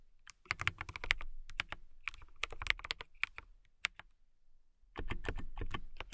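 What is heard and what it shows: Long-nailed fingertips type fast on a transparent acrylic mechanical keyboard with clear plastic keycaps and RGB lighting. The result is a rapid patter of short, sharp clacks with a bright tone around 2 kHz and a low thud beneath. The typing thins out briefly, then returns as a denser burst.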